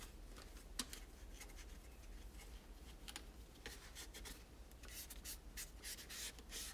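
A microfiber cloth rubs and wipes along the parts of a pastel, hollow molded plastic toy tower with a spiral ramp. Soft, bright brushing swishes and light scratchy strokes come in quick bursts, growing a little denser toward the end. A steady low hum sits underneath.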